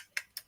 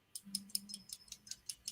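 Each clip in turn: First: Quick, dry high ticks that die almost instantly: a small plastic tape measure tapped against metal. Second: Nine quick, bright clicks, high and hard with almost no ring: a glass stone tapped on metal, not plastic.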